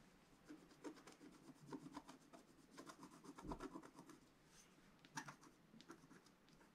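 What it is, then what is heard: Scratch art card being scraped. A wooden stylus scrapes repeatedly across black coated scratch art card lying on a table, filling in a region. Quiet, dry, papery scratching comes in short, uneven strokes with a slightly gritty rasp and brief bright edges. The strokes follow an irregular rhythm with small pauses between bursts.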